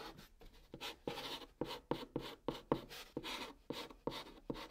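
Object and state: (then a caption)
Chalk writing on cardboard. A white chalk stick held in the fingers writes letters steadily across a flat brown cardboard box surface. The sound is a quiet series of short, dry, scratchy strokes with a bright hiss and little ring after each one.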